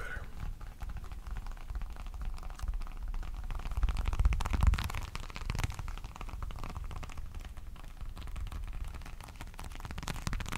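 A small folded black wallet, likely leather, is held in both hands close to the mic and tapped and scratched with the fingertips and short nails. Quick, uneven, soft, muffled taps and scratchy rustling continue throughout, mostly deep and low, growing a little louder around the middle before settling back.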